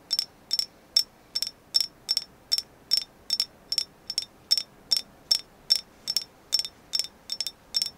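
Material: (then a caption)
Agate. Steady tapping on a carved agate moon goddess figure. Quick, bright clicks come in short single and double bursts, with a sharp high ring and almost no low end. Each tap dies away almost instantly against a quiet background.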